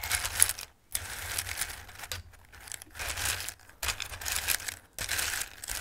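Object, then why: Raw dried pasta shapes in a bowl. Flat hands press and rub across a bowl full of raw, dry shaped pasta, making a bright, crushing rustle and shuffle. The pieces clatter and crackle in several bursts separated by brief near-silent pauses, with little low-end body.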